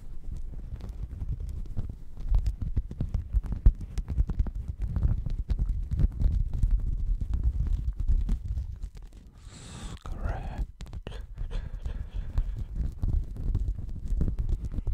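Fingernails scratch a checkered woven textile mat wrapped close to the microphone, producing a dense, muffled stream of rapid low scraping strokes with a deep, thumping rumble. Around the middle the scratching briefly drops away and a lighter, higher rustle comes through before the steady low scratching resumes.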